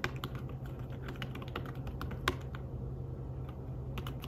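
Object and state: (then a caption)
Fabric-covered tablet keyboard being typed on. Fingertips tap the keys of a slim fabric-covered tablet keyboard in a steady run of soft, muffled clicks with brief bright ticks. A low hum sits underneath the typing throughout, and one sharper key strike stands out near the middle.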